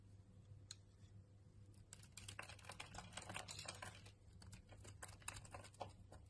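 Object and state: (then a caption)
Bar soap being carved. A utility knife blade scrapes and carves curls off a solid purple Harmony bar soap held in the hand. The result is a quiet, dense patter of crisp, bright scratchy ticks over a steady low hum.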